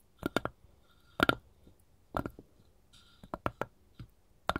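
Long gold metal claw tips worn on one hand tap and scratch along the grain of a solid, light wooden cutting board with rounded corners, held upright. The result is quick, dry, clicking taps in small clusters, each with a faint ring near 1.4 kHz and a soft bright edge, separated by quiet gaps.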